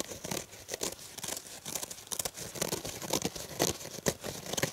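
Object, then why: Foam kitchen sponge. A purple rectangular foam kitchen sponge is held in the hand while fingertips and nails scratch and squeeze its surface. The result is a quick, irregular run of dry, bright scratching and crinkling bursts with short, dead decays and little low end.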